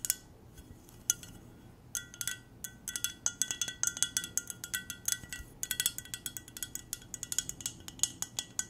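An empty, hollow clear glass mug with silver decoration is tapped with long nails on its side and rim. The result is a quick, irregular series of light clinks with bright, high ringing tones that decay almost at once. Brief pauses separate the bursts of tapping.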